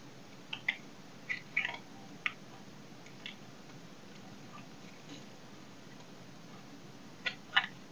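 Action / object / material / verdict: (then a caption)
scrape / soap bar scraped with a knife blade / soap / none. A knife blade scrapes and cuts a solid oval dry soap bar held in hand over a pile of shavings. Nine short, crisp, bright scraping cuts come in uneven bursts against a quiet steady hiss. Each one is brief and dry, with no ring after it.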